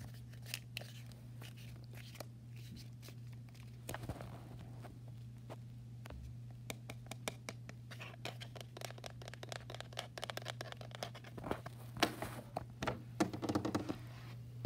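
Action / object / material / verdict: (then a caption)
tap / plastic TV remote control with rubber buttons / plastic / none. Long fingernails and fingertips scratch and tap quickly on a small, hollow, handheld black plastic TV remote with pink rubber buttons lying on a wooden desk. Dense, dry clicks and scratchy rasps sound over a steady low hum, growing busier and louder toward the end.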